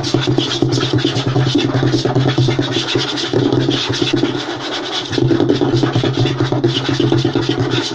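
Short fingernails and fingertips of both hands rapidly scratch and tap a flat, light wooden tabletop. The result is a dense, continuous rasping texture over a low, hollow knocking tone, with bright scratchy detail on top. The sound eases briefly just before the 5-second mark, then returns at full intensity.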